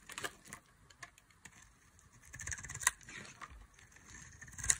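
A metal blade shaves chunky flakes from a solid oval bar of dry, purple, embossed soap held in the hand. Quiet, bright, crisp scraping and cutting comes in uneven strokes, with sharp crackling snaps standing out near the middle and at the end.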